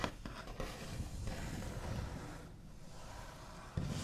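The backs of fingernails scrape, trace and sweep across the smooth white-painted finish of a large solid wooden table top. The sound is a soft, continuous, low scratchy rubbing, with a sharper scrape near the start and another near the end.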